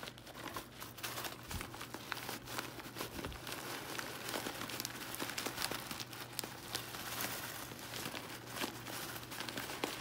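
Bare fingertips open a medium Spitz sunflower seed bag made of foil-lined plastic and full of seeds, then crinkle it and shake the seeds inside. The result is dense, continuous crinkling and crackling with bright, sharp ticks over a faint steady low hum.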